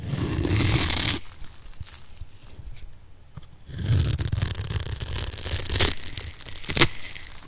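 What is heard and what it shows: A metal blade cuts a solid, rectangular bar of dry yellow soap held in the hand into small cubes. There are bright, crisp crunching and scraping bursts with a low thud underneath, a quieter pause in the middle, then more crackling cuts with a couple of sharper snaps near the end.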